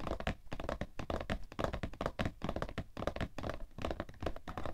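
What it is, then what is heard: Cardboard tissue box. A cardboard tissue box, held in both hands, is tapped quickly on its sides with fingernails. The result is a dense, steady run of dull, hollow thunks with a mid-pitched tone and very short decay, heavy in the low end with little high brightness.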